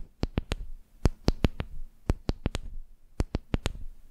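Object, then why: Wooden makeup brush handle. Long nails tap a flat, solid wooden makeup brush handle resting on the microphone, making 15 short, dry clicks in quick groups of three and four. Each tap gives a bright click over a deep, boomy thump, with almost no ring and quiet gaps between groups.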